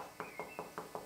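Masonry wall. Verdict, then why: Solid. Five quick knocks on a solid masonry wall beside a hollow partition give short, dull, mid-pitched thuds with almost no ring. The wall sounds solid and is judged probably load-bearing.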